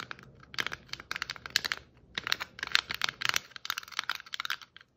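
Long nail tips tap and scrape across the shiny and glittery stripes of a hollow red and white striped plastic Christmas ornament ball. A rapid run of crisp, bright, clicky taps mixes with scratchy scraping, with almost no low end and each sound dying away at once. There is a brief pause near the middle before the tapping picks up again.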